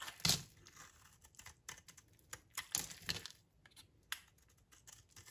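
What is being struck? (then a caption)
Soap bar shaved with a knife blade. A utility knife blade shaves thick curls off a solid oval bar of dry yellow soap held in the hand. Crisp, bright scraping and crackling strokes come in irregular bursts, with a few louder, sharper cuts among quieter rasps and little low-end weight.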